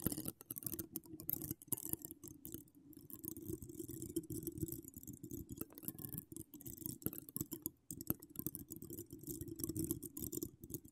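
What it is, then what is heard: Metal mesh microphone grille being scratched. Long pink acrylic nails decorated with donut charms and wire spirals scratch the rounded, hollow woven metal mesh grille of a large condenser microphone. The result is a dense, continuous run of quick scratchy ticks with a full low-mid body and bright, crackly edges. The scratching goes on almost without pause, briefly thinning out around the middle.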